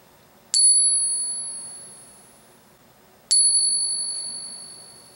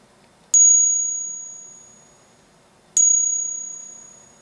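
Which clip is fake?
The second.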